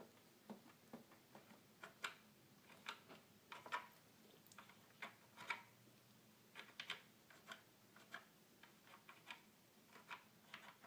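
Fingertips tap the keys and then the plastic panel buttons of a hollow red plastic toy keyboard. About twenty short, dry, bright clicks and ticks come at an uneven pace, each fading almost at once over a faint low hum. The taps are quiet and hollow-sounding, with little low end.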